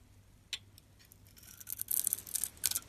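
A palm-sized solid pink Arko bar soap, held in the hand, has its surface shaved and scraped off with a metal box-cutter blade. A single sharp click is followed by quiet, then bright, crisp scraping rasps that grow denser and louder toward the end, with almost no low end.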